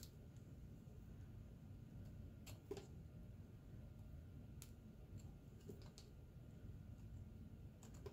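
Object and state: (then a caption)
Bar soap being shaved with a knife. A solid white Ivory bar soap is shaved with a pocket knife, and the flakes fall onto a pile. Short, bright scraping cuts and soft ticks sound at irregular intervals over a steady low background hum.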